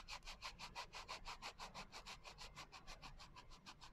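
Fingertips and long nails rub back and forth across the coarse glitter cover of a small, closed hardcover journal. Twenty-four quick, even scratchy strokes, about three per second, each with a bright, gritty rasp and little low end.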